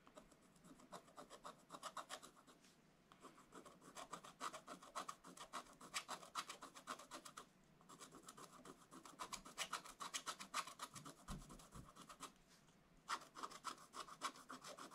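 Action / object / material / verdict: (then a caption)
scrape / coated scratch-art paper scraped with a wooden stylus / coated paper / none. A wooden stylus scratches the black coating off a scratch-art paper page in an open book. It makes quick, dry, rasping strokes in bursts separated by brief pauses, with a bright scratchy texture centered around 1.3 kHz.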